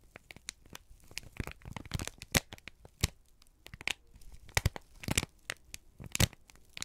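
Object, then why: Folded kraft paper sheet. A folded, crinkled sheet of brown kraft paper is held in both hands, then squeezed and rubbed with the fingertips. It gives off an irregular stream of dry crinkling and sharp, bright crackles, with louder snapping bursts scattered through the clip. Each crackle cuts off almost instantly.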